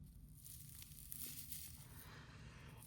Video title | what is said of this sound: Bratz Charmz Cloe doll unboxing and review | you can hear how crispy it does